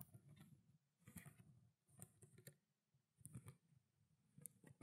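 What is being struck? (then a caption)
Plastic water bottle, partly filled. A small clear plastic water bottle with a blue cap, partly filled with water and held horizontally, is tapped on its ridged body with long black nails. Soft, quick clicking taps with a hollow low thump and a bright tick come in loose clusters over a quiet background.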